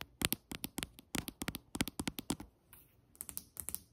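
Long fingernails of one hand tap quickly on a solid white glazed ceramic tile countertop, making sharp, bright, dry clicks that die away almost at once. The taps come in quick clusters, pause while the hand briefly moves toward the camera with a soft swish, then resume.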